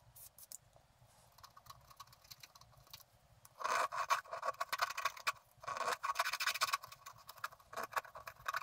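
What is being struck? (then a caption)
Scratch art paper sheet with wooden stylus. A wooden stylus scratches details onto a figure on a thin, flat sheet of scratch art paper. Soft, sparse ticks and light scrapes build into two louder stretches of dense, bright, rasping scratching. Quieter strokes follow at the end.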